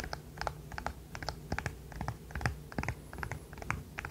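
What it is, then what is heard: Silicone pop-it fidget toy. A small, flexible, rainbow-coloured silicone pop-it fidget toy is held in both hands while its hollow bubbles are pressed and popped with the fingertips and the toy is tapped with nails. About nineteen quiet, irregular pops and clicky taps sound over four seconds, each with a soft low thud and a very short decay.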